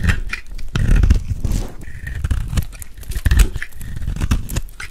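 A metal blade scrapes and carves curls off a dry, hand-held solid blue soap bar with a gold embossed rim. The result is a steady run of dry, crunchy scraping bursts, heavy in the low end with faint bright crackle on top, each stroke dying away almost at once.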